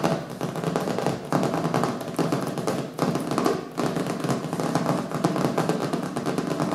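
Fingertips and nails rapidly tap and scratch the colorful printed cover of a small, solid hardcover book resting on a wooden table. The result is a dense, continuous patter of dry, short taps with a mid-range, papery-woody body and little high-end brightness. Brief dips in the flurry come around 1.3, 3 and 3.7 seconds.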